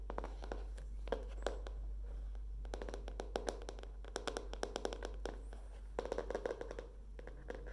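Long dark-painted nails tap and scratch the printed green-leaf cardboard cover of a hardcover notebook with a metal spiral binding, held up in the hands. Quick, crisp clicking taps come in uneven bursts over soft scratching, with a steady low hum underneath throughout.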